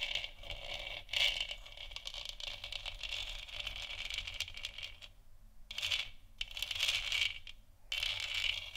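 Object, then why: Hollow plastic lamp sphere. Long nails tap and scratch the surface of a large, hollow, 3D-printed plastic moon lamp sphere lit white. The result is a dense, bright, crackling scratch with a steady papery hiss centered near 2.9 kHz and quick tapping clicks throughout. The sound breaks into short bursts separated by brief quiet gaps.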